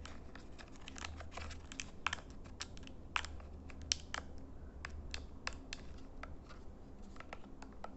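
Fingernails scratch and tap across the buttons and casing of a small plastic LED IR remote control held in hand. It makes a quick, uneven series of sharp, dry clicks and crinkly scratches with a bright edge. A steady low hum runs underneath throughout.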